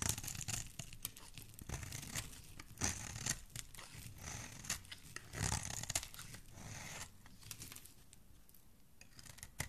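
A flat metal blade scrapes and carves the surface of a solid, hand-sized teal bar of soap held in the hand, peeling off flakes. Repeated crisp, dry scraping strokes make bright, tearing and crumbly sounds over a soft low rumble, with a few louder cuts standing out.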